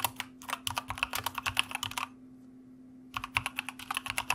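Fingertips of both hands type on a white plastic mechanical computer keyboard, producing quick, bright, clicky keystrokes. The keystrokes pause for about a second in the middle, then resume. A faint steady low hum runs underneath throughout.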